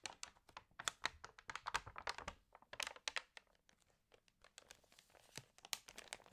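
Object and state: Glossy paper magazine pages crinkled.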